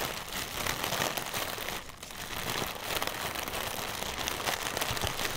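A single small, hollow, air-filled translucent plastic air pillow used as packaging material is held in both hands while fingertips and nails tap and scratch its film surface. The result is a continuous bright crinkling and scratchy rustle with soft taps, easing briefly near the middle before picking back up.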